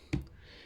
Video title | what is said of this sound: Storing squashes | Sounds solid like that, you know it's not ready.